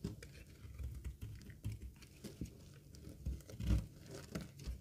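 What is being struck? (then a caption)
Bar of soap shaved with a blade. A utility knife blade shaves curls off a green, rectangular, solid bar of dry soap held in the hand. It makes a run of quiet, dry scraping and crumbly crinkling strokes with soft low thumps. A few bright ticks cut through, and one stroke near the end comes through louder.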